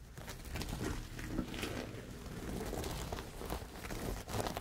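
Fingertips and nails scratch and rub over a large pink cloth laid out flat, densely embroidered with thread and covered in sequins and metallic beadwork. The result is a steady, dry crinkling scrape with soft rustling underneath and brief brighter scratchy flicks as the nails catch on the beads and sequins.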